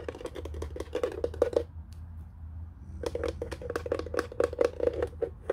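Fingernails rapidly tap and scratch the flat underside and rubber feet of a white plastic telephone base turned upside down, its hollow housing giving each tap a short, hollow knock around 490 Hz. The tapping pauses for about a second and a half over a faint low hum, then resumes in a quick, dry clicking run.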